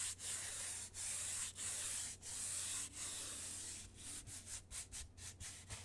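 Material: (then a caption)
Cardboard. Long nails rub and scratch a large, flat brown corrugated cardboard sheet with cut circular holes, held up close to the mic. Long, steady, hissy scraping strokes come first, then shorter, quicker scratches, with the sound bright and concentrated in the high frequencies.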